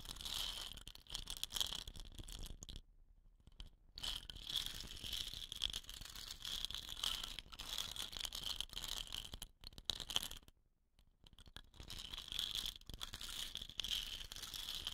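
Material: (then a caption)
Wood. Long nails tap and scratch along a hollow, dot-painted wooden rain stick. The sound is a dense, bright, dry crackle of quick scrapes and clicks centered around 3 kHz, with two short near-silent pauses before the scratching resumes.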